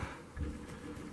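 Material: Nothing is struck.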